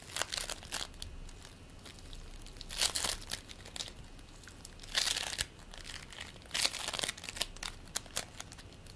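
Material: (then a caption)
Polystyrene beads. A green play foam ball made of polystyrene beads is kneaded and squished with the fingertips of both hands. It gives off bright, dry crackling and crinkling in irregular bursts, with louder squeezes around 3, 5 and 6.7 seconds and little low-end body.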